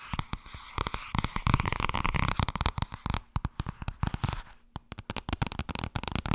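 Fingers tap quickly on the softcover book 'Blijkbaar wordt het toch ergens als je er niets aan doet', producing a rapid, uneven patter of dry, short thuds that are mostly low with a light papery crackle. The tapping comes in busy bursts with a brief lull near the end before it picks up again.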